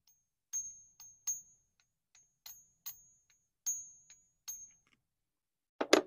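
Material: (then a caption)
Copper-nickel. A suspected counterfeit American Silver Eagle, believed to be copper or a copper-nickel blend and already failed on a Sigma metal tester, is flicked repeatedly in a ping test. It gives a series of short, dull pings with a thin high tone that dies almost at once, followed by a louder scuffing clatter at the end. The coin is confirmed fake, ringing duller than a genuine Silver Eagle.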